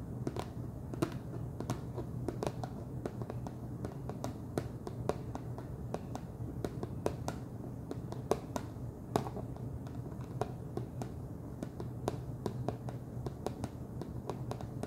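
Fingernails tap steadily on top of the wide orange plastic screw lid of a large clear plastic jar full of cheese puffs. Each tap is a short, dry, bright click with almost no ring, repeating in an irregular quick rhythm over a constant low hum throughout.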